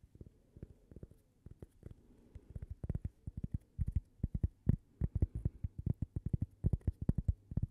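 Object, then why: Thin cork coaster. A thin, solid, toast-shaped cork coaster with a Gibi logo, held in both hands, is tapped and scratched with long purple nails. It makes dozens of quick, dull, low taps with no ring, plus faint scratchy texture between them. The taps come in irregular bursts that grow louder and denser as the clip goes on.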